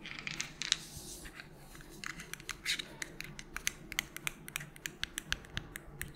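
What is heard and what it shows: Long pointed nails tap and scratch a small, hollow white plastic melatonin bottle with a purple cap. A quick, irregular series of sharp, bright clicks, with a ringing tone near 3.8 kHz, falls over soft scratchy rustling. Each tap dies away almost instantly, leaving a dry, crisp texture with little low end.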